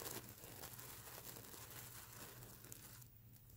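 Long nails scratch and rub across the flip plastic sequins of a stuffed plush mermaid unicorn pillow, making a continuous dense crinkling, scratchy rustle with a steady low hum underneath. The bright scraping fades near the end, leaving a softer, duller rub.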